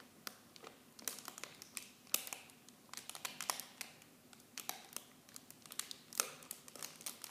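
The clear plastic film wrap of a miniature shampoo set is held in both hands and crinkled with fingertips and long blue nails. Soft, bright crackles and sharp snaps come in quick irregular bursts with almost no low end, each dying away instantly.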